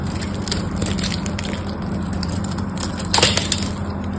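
A craft knife scrapes and carves cubes off a solid pink bar of soap held in the hand, making a steady, crumbly crunching and scraping over a low, constant hum. Bright crackles peak in a louder burst of carving near the end.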